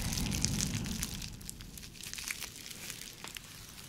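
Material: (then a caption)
Plastic. An empty, hand-sized clear bubble-textured plastic sleeve is squeezed and scratched with long nails. Dense, bright crinkling and crackling taps ride over a soft low rumble. The sound is louder at the start and settles into quieter, steady scratching.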